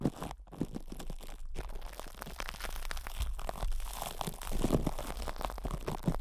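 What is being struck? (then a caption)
Plastic cling film over a metal mesh microphone head. Plastic cling film is wrapped around a hollow metal mesh microphone head while fingertips and nails press, squeeze and scratch it. The result is a dense, continuous run of close crinkling and crunching with deep low thumps and brief gaps.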